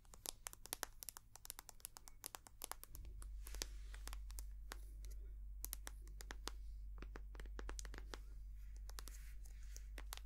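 A small white soft plastic squeeze tube of hand cream, hollow and filled with cream, is tapped and scratched with long painted nails. Quick, uneven, sharp clicks and crinkly scratches sound over a steady low hum that grows slightly louder about three seconds in.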